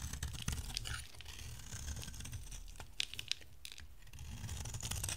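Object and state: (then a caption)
Dry bar soap being shaved. A box-cutter blade shaves thin strands from an oval, solid yellow bar of dry soap, making a dry, crisp scraping and crackling with sharp little ticks over a steady low rumble. A few brighter snaps stand out near the middle as the strands break away.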